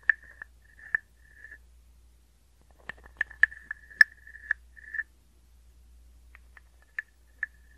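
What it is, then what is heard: Wooden frog guiro. A small hollow carved wooden frog guiro, held near the microphone, is scraped with a wooden stick. The scrapes give bursts of woody, croak-like rasping with a steady pitch near 1.7 kHz and bright, sharp clicks. They come in irregular groups with short pauses, and the whole clip stays fairly quiet.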